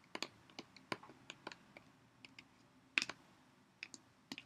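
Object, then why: Plastic water bottle tapped with fingernails. Long nails tap and click on a clear Poland Spring PET water bottle of about 0.5 L, hollow and partly full of water, with a ridged body, and on its cap. Fourteen short, bright clicks are spread unevenly across the clip, each dying away almost instantly.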